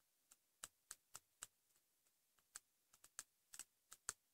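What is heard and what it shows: Fingertips and short nails tap quickly on the cover of a pink patterned hardcover notebook, likely cardboard, lying flat. About a dozen short, bright, clicky taps land in an uneven rhythm, with a few fainter ones between. Each tap is dry and stops at once, with no ring.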